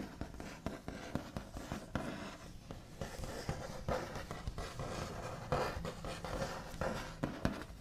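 The backs of the nails on both hands tap and scratch quickly across the large, solid, smooth top of a white-finished wooden table. The sound is a run of short, dry, scratchy taps with a low body, each dying away almost at once, over a steady rustling scrape.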